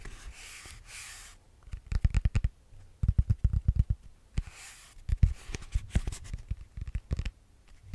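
Fingertips and nails rub and scratch a solid grey foam yoga block. Soft, hissy rubbing alternates with clusters of quick, dull, low scratching taps that stop dead with no ring.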